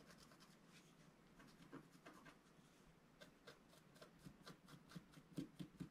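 A wooden stylus scratches at the bottom edge of a flat, black-coated scratch-art sheet, about A4, lying on a table while the other hand holds the sheet. Soft, dry scratching strokes repeat at an irregular pace over a low, steady rustle. The strokes grow sharper and louder toward the end.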